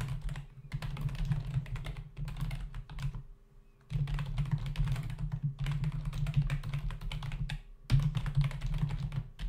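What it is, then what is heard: Plastic computer keyboard. Fingertips of both hands type fast on a full-size black plastic membrane computer keyboard with hollow keys, resting on a desk. Dense runs of soft, hollow clicking taps with a low thumpy body come in bursts, broken by short pauses.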